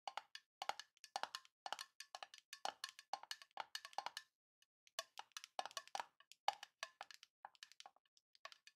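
A small, hollow, rectangular printed tin box with a Grinch design is held tilted in both hands and tapped quickly with long nails on its side and lid. The result is rapid bursts of light, clicky metallic taps with a woody, hollow tone centered around 800 Hz and bright edges. Each tap dies almost instantly, with a short pause partway through.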